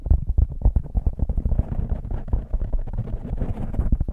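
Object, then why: Foam microphone windscreen. A soft, porous black foam windscreen on a microphone is scratched and squeezed with fingertips and nails. It produces a dense, rapid stream of deep, muffled thumps and rumbling crackles, almost entirely low-pitched with no bright content, continuing for about four seconds.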